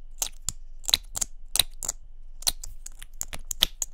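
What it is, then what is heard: Plastic mascara tube. A small hollow pink plastic mascara or lip-gloss tube with a gold cap is held in both hands and tapped quickly with long nails. About 15 sharp, bright clicks come in an irregular rapid pattern, each dying almost instantly with a light hollow knock underneath.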